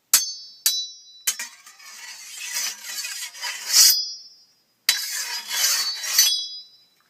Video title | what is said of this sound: Patrick Giraudi On Rex Sikes' Movie Beat | this is actually a real samurai sword and it's a thicker metal it's actually higher pitch